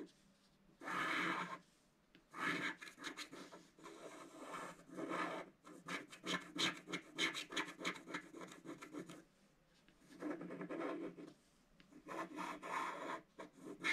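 A wooden stylus scratches across a flat black-coated scratch-art paper card near its left and centre motifs, making dry, raspy scraping strokes. The scratching comes in bright bursts with short quiet gaps, with little low-end weight.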